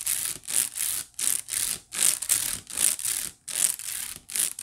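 Long nails quickly scratch the weave of a hollow, white woven wicker basket. The result is a series of dry, bright, hissy scratching bursts in a loose back-and-forth rhythm, with almost no low end.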